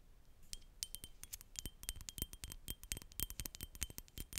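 Long nails tap rapidly on a partly full, rectangular glass perfume bottle with a black cap. The clip is a dense run of quick, bright glassy clicks with a faint steady ringing tone, each tap dying away almost instantly over a soft low rumble.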